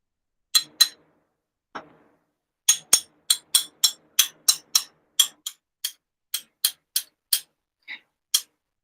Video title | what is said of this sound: Cutting glass - ghosts, pumpkins, general spoops | as the glass weakens you can hear the difference as you're tapping